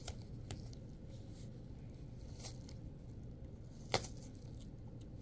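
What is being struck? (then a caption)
Apple. A red apple is held in both hands while long acrylic nails scrape and tear the flesh and skin away from its opened top. Soft, steady wet scraping and tearing runs over a low, dull rumble, with brief bright crackles and one sharper snap near the end.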